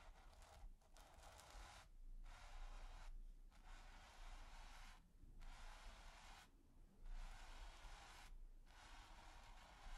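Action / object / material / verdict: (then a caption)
scrape / bristle brush on textured primed canvas / canvas / none. A splayed bristle brush is scratched and swept over a flat, taut, textured primed canvas. Repeated dry, bright, scratchy strokes are separated by brief pauses, over a steady low rumble.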